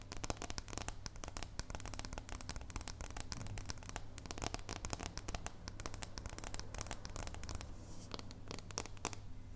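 A solid dark chocolate bar is held up edge-on in both hands while long purple nails tap and scratch along its edge and surface. The result is a dense, rapid stream of short, crisp clicks and scratchy rasps over a steady low hum.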